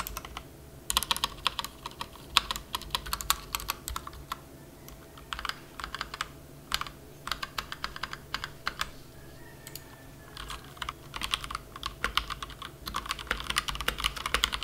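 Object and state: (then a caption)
Plastic mechanical keyboard being typed on. A plastic compact mechanical keyboard resting on a felt mat is struck with single key presses, then typed on with two-handed fingertip typing. Short, bright clacks with little low end come in scattered bursts before settling into a steady rapid patter.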